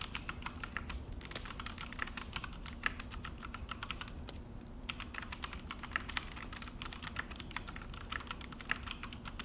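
Both hands type with their fingertips on a full-size Akko mechanical keyboard with an orange plastic case and black plastic HyperX keycaps, set on a desk. A steady run of sharp, bright plastic clicks and taps continues throughout, with only a brief lull near the middle. A faint, constant low hum sits underneath.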